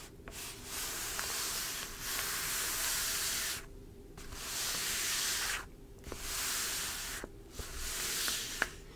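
Long pointed dark acrylic nails and fingertips scratch and tap across the front page of a folded, thin, flexible newsprint newspaper (The Epoch Times) lying flat on a dark table. Long, bright, hissy scratching strokes come in waves separated by brief quiet gaps, with a few faint sharp taps in between.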